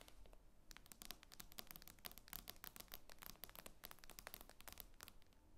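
Long nails tap rapidly and irregularly on the glass screen of an iPad lying flat, making a dense run of sharp, bright clicks. Each tap is very short with no ring, over a faint low hum.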